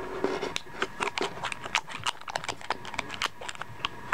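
Fingertips twist a cylindrical metal screw cap on and off the threaded glass neck of a small, dark, hollow glass skull-shaped perfume bottle. The result is a grinding, twisting sound made of rapid, quiet, scratchy clicks and ticks with bright edges and very short decay.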